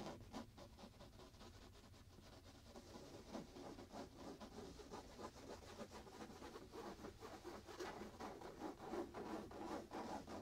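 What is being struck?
Fabric pillow.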